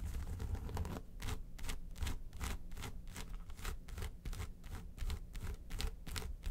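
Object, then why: Small faux-leather makeup case. Long nails scratch and tap the embossed lid of a small, hollow, yellow textured faux-leather makeup suitcase. The result is a quick run of bright, rasping scratch strokes over soft, low, hollow thumps.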